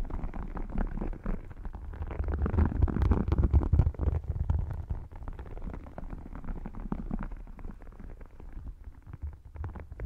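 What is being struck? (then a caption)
Embossed faux leather wallet. Long dark painted nails tap and scratch the textured covers of a rigid red faux crocodile-embossed leather wallet lying open flat on a lap. The sound is a dense, irregular stream of quick, muffled taps and scrapes, weighted heavily toward the low end with little bright content. It peaks around the third and fourth seconds, then settles into a softer, steady scratching.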